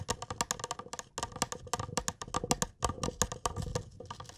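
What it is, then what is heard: Glass cup. A small, clear, hollow glass cup, apparently empty and held in both hands, is tapped rapidly with fingertips and nails. The result is a quick, uneven patter of bright, short clicks with faint glassy tones that die away almost instantly.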